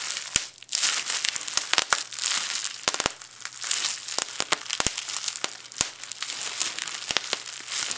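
A small bunched piece of clear plastic bubble wrap is crushed and twisted between both hands, with fingers pressing the air bubbles until they pop. Steady bright crinkling runs throughout, broken by many sharp, quick pops scattered irregularly across the clip.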